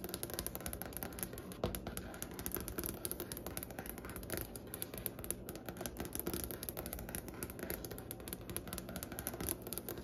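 Long painted nails and fingertips tap and scratch across a large, solid wooden butcher-block desk top with light striped grain. The result is a steady, quiet stream of rapid, dry clicks and scratchy rubbing, each tap dying away almost instantly with no ring, over a dull, low woody thump and a faint bright hiss.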